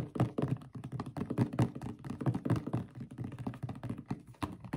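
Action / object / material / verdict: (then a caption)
shake / plastic bottle filled with thick liquid / plastic / none. A blue plastic Dr Teal's foaming bath bottle, about 1 liter with a black cap and filled with thick liquid, is shaken with both hands. A rapid series of dull, low thunks and sloshes is heard, with short, damped hits running continuously and little high-end content.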